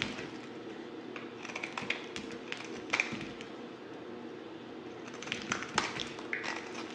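A solid white bar of soap, now mostly plain, is held in the hand and cut and scraped with a yellow utility knife blade. A steady, soft, bright scraping hiss runs throughout, broken by sharp, crisp clicks and snaps as the blade bites into the soap, with the loudest near the 3-second mark and again around 5.5 to 6 seconds.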